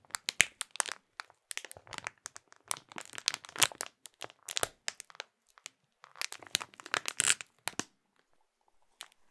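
Both hands crumple and crinkle a clear printed plastic bag holding a small food item. Bursts of sharp, bright crackling come in dense clusters with almost no low end and each snap dies away instantly. The crackling thins out near the end, falling quiet before one last faint crinkle.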